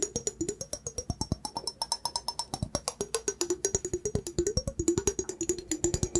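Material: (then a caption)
Glass. A clear, hollow glass mug with a handle, apparently empty, is held in one hand and tapped quickly with fingertips and nails. About 55 short, crisp taps ring out in a steady patter, each with a brief low-mid tone near 340 Hz that wavers upward and back, plus a bright, high glassy ring that fades fast.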